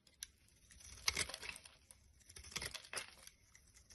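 A black-handled blade scrapes flakes off a solid, light-green, rounded bar of soap held in the hand. The result is quiet, crisp, bright scraping and crinkling in irregular strokes, each ending quickly with no ring.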